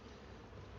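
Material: Nothing is struck.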